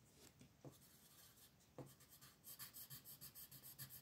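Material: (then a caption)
Paper. A purple colored pencil rubs and scratches across a thin paper mandala page lying flat in a coloring book, making quick shading strokes while the other hand, with long nails, holds the sheet. Soft, dry scratching is broken by a couple of light taps, then turns into faster, rhythmic, bright back-and-forth strokes in the second half.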